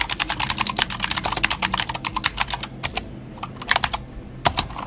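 Fingertips of both hands type on a full-size white Glorious GMMK White Ice mechanical keyboard with plastic keycaps and clicky Gateron Blue switches. A rapid run of sharp, bright clicks with short, dry decay fills the first three seconds, then slows to a few scattered keystrokes after a brief lull.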